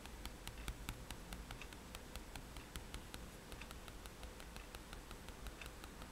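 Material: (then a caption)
Paper. A white paper sketchbook sheet lying flat on a table is tapped rapidly and repeatedly with the metal tip of a fine-liner pen while stippling. About thirty quiet, short, bright ticks come in a quick, steady run, each dying away almost at once over a soft, steady low rumble and hiss.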